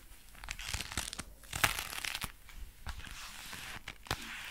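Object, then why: Leather gloves. Dark brown leather gloves worn on both hands creak and crinkle as the fists are clenched and the fingers flexed. Soft, bright rustling runs throughout, broken by short, sharp creaks and snaps.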